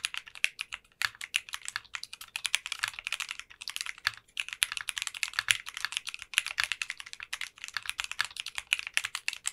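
A 60% custom mechanical keyboard with translucent pink polycarbonate keycaps is typed on continuously with the fingertips of both hands. It makes a rapid, steady stream of short, bright clacking keystrokes that die away almost instantly, with little low end.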